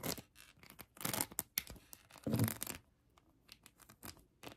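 A hand-sized plastic heart covered in colored acrylic rhinestones is scratched by long acrylic nails. Quick, bright, crackly scratching bursts come in uneven clusters, with a louder, fuller rasp near the middle. Brief quiet gaps fall between them.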